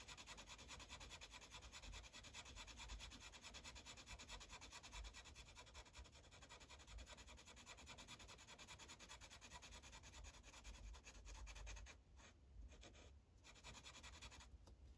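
A yellow Sharpie felt tip rubs rapidly back and forth on a thin paper coloring page resting on a clipboard, filling in small circles. It makes a steady, dense, bright scratchy hiss with a soft low rumble underneath. The strokes briefly pause near the end before resuming.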